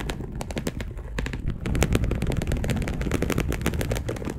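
Long acrylic nails on both hands scratch deeply across a dark polyester mesh bed sheet. The result is a rapid, dense run of short rasping strokes that blur into a steady scratching texture, heavy in low rumble with brief brighter scrapes.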